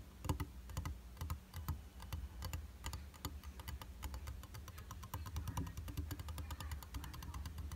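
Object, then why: Round glass vanity mirror. Fingertips and short nails tap rapidly on the flat, solid glass of a round vanity mirror in a white frame. The result is a quick, steady stream of light, dry clicks with a soft low thump beneath. Each tap dies away almost at once.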